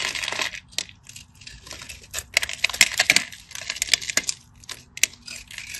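A solid cream-coloured bar of soap is held in the hand and scored in a crosshatch pattern with a small metal blade, with flakes crumbling off the bar. Quick, bright scraping and crisp cutting clicks come in uneven bursts, each stopping short with almost no ring and no low body.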